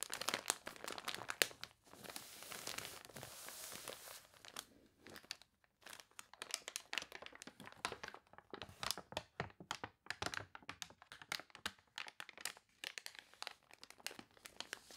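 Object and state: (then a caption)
Water-warped paper catalog, stiff crinkly pages. Long fingernails scratch and rub across the wavy pages of a water-warped paper toy catalog, making dense, bright crinkling and crunching with sharp, fast-fading ticks. A page is then turned with a softer, sustained rustle before the scratching resumes in quick bursts.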